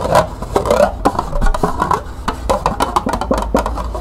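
Long nails rapidly tap and scratch the base, side and rim of a small, hollow, empty green plastic cup held in the hands. The result is a quick run of light, hollow clicks with a mid-pitched ring around 715 Hz, mixed with brief scratchy rasps over a faint low rumble.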